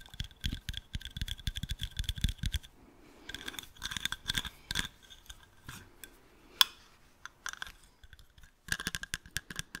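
Fingernails tap and scratch the dark lenses and thin metal frame of a pair of round sunglasses. Quick, dry clicks carry a faint high ring near 3.4 kHz over soft low thumps, broken by quieter scratching passages and one sharp loud click near the middle. A fresh burst of rapid taps closes the clip.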